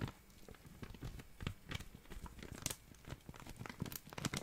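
A small, clear, thin, empty plastic zip-lock bag is crinkled and rubbed between fingers. The result is a quiet, continuous run of dry crinkling and crackling, broken by sharper bright crackles, most noticeably near the middle and toward the end.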